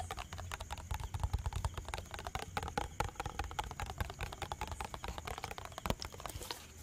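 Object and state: Plastic bottle with liquid.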